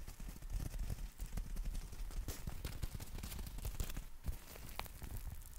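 Fingertips and nails tap and scratch the fabric of a black folded nylon umbrella held in both hands. Dense, rapid, soft low thuds and rustles run throughout, with occasional brief, brighter scratchy streaks. The taps die away almost instantly, leaving a steady, muffled patter.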